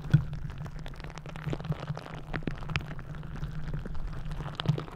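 A green rubber gel-bead squishy stress ball, its rubber skin stretched over the microphone head, is kneaded and scratched with long nails. The result is a dense, low, muffled rumble with a steady hum, dotted with many quick crackly ticks and soft squishy pops that stay fairly quiet and end abruptly.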